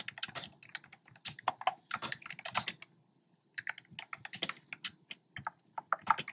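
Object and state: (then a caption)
Plastic keyboard keys. Fingertips with short nails type on a black plastic keyboard with hollow, round retro-style plastic keycaps in cream, pink and red. Quick, dry, hollow clicks come in uneven bursts, with a brief pause about midway before the typing resumes.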